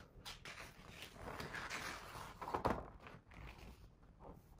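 A fingertip traces the words on a paper page of a hardcover picture book, making a soft, dry rustling scratch, and then a page is turned. The sound is quiet and close, with a brief louder papery swish near the middle before it settles back into faint brushing.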